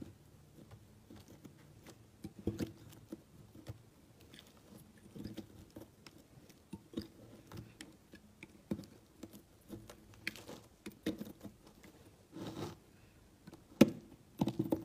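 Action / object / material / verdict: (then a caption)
scrape / solid bar of soap / soap / none. A utility knife blade slices thin layers from a large, solid, cream-colored stamped soap cube, and the shavings pile up. The sound is a quiet series of short, dry, crisp scraping and crunching cuts with a low-mid body and brief bright edges, spaced irregularly. Each cut dies away almost instantly, with a few louder cuts near the end.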